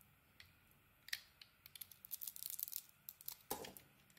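A utility blade carves the edges of a solid green glitter bar of soap. Quiet, bright, crisp scraping ticks and crackles come in short bursts, with a dense run of shaving sounds in the middle. A longer, fuller scrape follows near the end.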